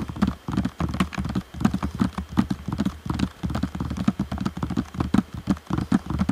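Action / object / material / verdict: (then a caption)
tap / plastic game controller shell and buttons / plastic / none. Fingertips tap rapidly across the hollow shell and buttons of a black plastic Xbox One controller. The taps are dull, hollow clicks with a low body, very little brightness, and almost no ring, forming a steady, uneven patter throughout.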